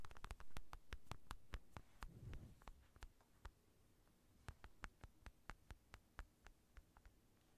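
Fingertips and nails tap and scratch the surface of an empty black Everlast padded synthetic leather boxing glove close to the mic. Quick, uneven dull taps with crisp, bright clicky edges sound over a low, soft body, with a brief brushing scratch early on. The tapping then thins into sparser, quieter knocks.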